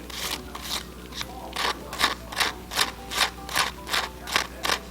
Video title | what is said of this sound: 脆炸雞腿 - 分享用焗爐做出油炸一樣黃金雞髀，脆卜卜爆汁雞髀就是這樣做[💬 Eng sub ] | If the chicken is not crispy I can't make this type of sound no matter how I tried